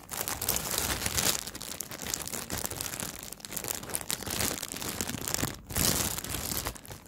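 Fingertips grip and crinkle a thin clear plastic bag wrapped around a small black fabric pouch, held close. A continuous, bright, crackling crinkle of plastic film is heard, swelling and easing in dense bursts with a brief pause near the end.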